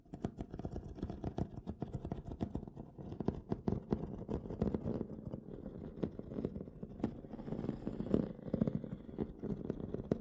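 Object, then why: Aluminum carrying case with textured lid. Fingertips and short nails from both hands tap and scratch the textured metal lid of a small, hollow aluminum poker-set carrying case lying closed on dark cloth. Rapid, dense clicks and scrapes carry a hollow, low-mid resonance around 230 Hz, and each tap dies away quickly.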